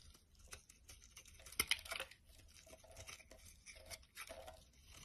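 A utility knife blade scrapes and carves a solid pink and white striped bar soap held in the hand, and chunky pink-white shavings fall onto wood. Quiet, dry, crisp scraping and crackling runs throughout, bright and mostly high-pitched, with a louder burst of sharp crunching about a third of the way in before it settles back to steady, soft carving.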